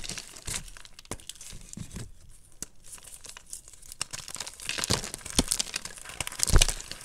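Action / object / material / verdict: scrape / chunks of gym chalk (magnesium carbonate) / chalk / none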